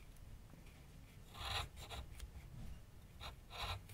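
A graphite pencil held in the hand scrapes and shades lines on a medium white canvas/paper board resting on a wooden easel. Short, raspy scratching strokes come in bright bursts over a quiet low rumble, with the strongest strokes near the middle and the end.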